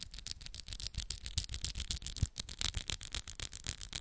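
Long, solid coffin-shaped acrylic press-on nails are tapped and clicked against each other with both hands. A fast, uneven run of sharp, bright clicks follows with short dull knocks underneath, each click dying away almost instantly.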